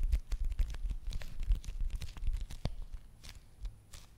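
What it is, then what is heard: Foil face mask sachet. A small, flat red foil/plastic face mask packet is held in one hand and tapped and scratched with the long nails of the other hand. Quick, irregular crinkly taps and scratches come with soft low thumps and bright, papery rustles. The sound tapers off toward the end.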